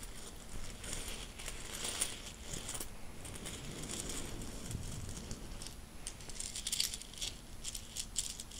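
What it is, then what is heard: Handful of metal coins. A handful of mixed solid metal coins is swept together by fingertips on a bedsheet, gathered into the palm and shaken in a loose fist. The result is a steady, soft clinking and rattling with bright, high metallic chinks over a low rustle, and a few louder jingles stand out near the middle and end.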